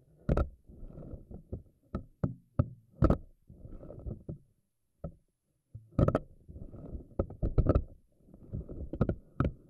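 Long nails on both hands stretch the tentacles of a pink silicone spiky anemone ball and let them snap back. Sharp, dry snaps with very short ring stand out over soft, low, rubbery squishing and rustling, with brief quiet pauses between bursts.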